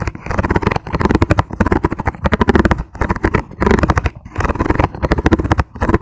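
Fingertips tap very fast on a clear, ribbed plastic food container that is hollow and empty. The taps come in quick bursts separated by brief pauses, each one a short, dull, hollow knock with most of its weight in the low end and no ring afterward.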